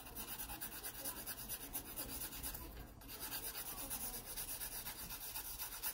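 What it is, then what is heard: Pencil shading on a sketchbook page. A graphite pencil makes vertical shading strokes on an open paper sketchbook page, rubbing against the paper. A quiet, steady, bright scratchy hiss pulses with the back-and-forth strokes, dipping briefly midway before continuing.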